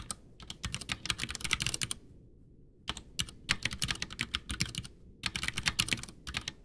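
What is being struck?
Plastic mechanical keyboard.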